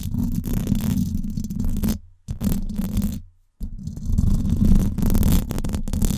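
Long acrylic nails scratch the hollow, silver woven-wire dome grille of a Blue Yeti microphone, producing a dense, boomy, low rumbling scrape with a steady hum-like tone and faint high crackle. The scratching stops briefly twice, near 2 and 3.5 seconds, then resumes louder until the end.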